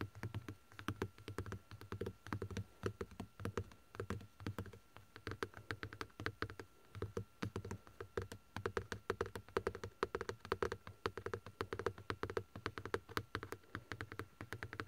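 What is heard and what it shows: Fingertips and short nails tap and scratch a car's padded center-console armrest covered in black stitched leather. Dense bursts of quick, dry taps with soft low thumps and bright clicky edges stop almost instantly, mixed with faint scratching between the bursts.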